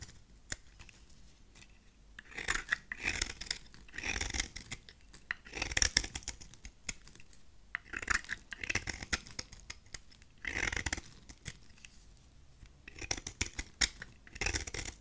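A solid rectangular lilac bar of dry soap is held in the hand while its face is shaved with a utility knife blade. Bursts of bright, crisp scraping and cutting come in repeated strokes, with short quiet pauses between them.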